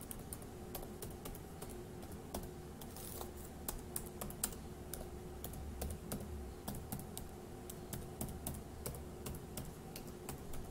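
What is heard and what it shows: One hand's fingertips tap the plastic keys of a dark grey laptop keyboard in a steady, uneven run of quick, dry clicks. Each click is short and bright, with no ring, over a quiet, constant low hum.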